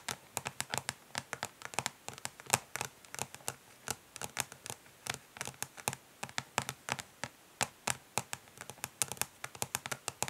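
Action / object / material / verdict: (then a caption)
tap / plastic makeup palette case / plastic / none. Long nails rapidly and gently tap and lightly scratch the ridged, smoky plastic back of a plastic makeup palette case. Dozens of quick, bright, clicky taps land in a steady, dense stream, each dying away almost instantly against a quiet background.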